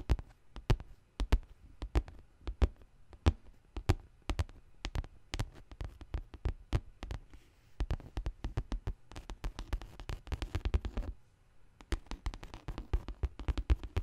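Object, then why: Faux leather handbag. Long nails tap and scratch the side panel of a large black pebbled faux leather handbag. Short, dry, clicky taps with a soft low thud come in uneven runs, then turn into denser flurries of quick scratching and tapping toward the end.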